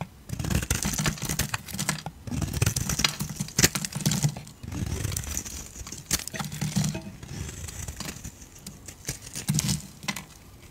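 A metal blade shaves curls from the edge of a solid yellow bar of soap held in a hand with long decorated nails. Repeated crisp, crackling scrapes with a bright, papery hiss come in bursts over a soft low rumble, with sharp ticks as the blade catches the soap.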